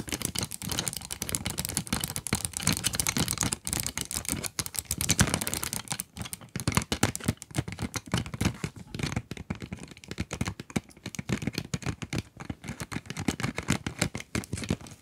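Long nails tap and scratch the plastic window of a cardboard pencil box held upright near microphones. A dense, rapid stream of short, dry clicks mixes with scratchy, bright rustling and a soft low thump under each tap, staying steady throughout.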